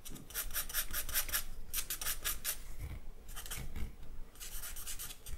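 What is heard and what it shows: A charcoal stick makes short scratching strokes across the surface of a white drawing paper sheet. Quick runs of dry, raspy rubbing strokes with a bright hiss come in bursts, separated by brief pauses, over a soft low rumble.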